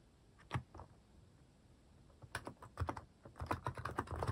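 A white-case plastic mechanical keyboard fitted with pastel plastic cat and paw keycaps, resting on a wrist rest, is typed on with fingertips. After a lone keystroke near the start and a pause, a run of uneven, muffled clacks follows, each one short and low-heavy, with no ring.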